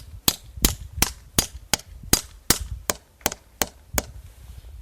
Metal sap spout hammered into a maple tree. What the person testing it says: we hear that solid sound that means we have a good tap